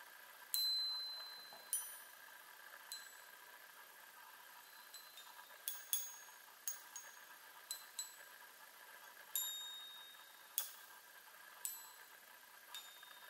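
Long nails tap the hollow silver metal tubes of a small handheld chime on a wooden frame, striking fourteen separate quiet, bright metallic pings. Each ping is high-pitched and fades quickly over a faint steady background hum.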